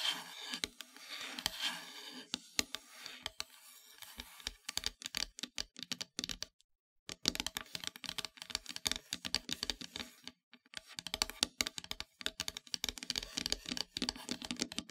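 Long metallic nails tap and scratch across a flat, solid, dark painted wooden heart-shaped plaque. The result is a dense run of quick, dry, bright clicks and scrapes with almost no ring, broken by two brief silences.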